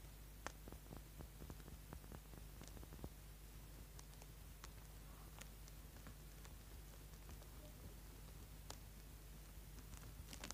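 A small, solid orange bar of soap held in the hand has its corner scraped with a small tool, crumbs piling up on the board below. Quiet, crisp scratching ticks and dry crackles sound at an irregular pace over a low, steady hum.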